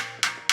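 A ceramic bathroom wall tile is tapped twice at another spot. It gives two short, bright, hollow-sounding knocks that ring only briefly. The tile is hollow at this spot.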